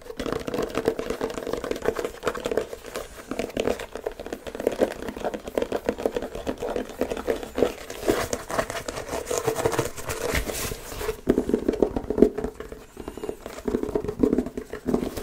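Fingertips and short nails scratch and rub a single hollow, empty black laced leather dress shoe held in both hands, moving over the leather toe and upper, then the rubber sole. The result is a steady stream of fast, dry crinkling scratches centered in the low mids with a faint bright edge, rising into denser, louder bursts toward the end.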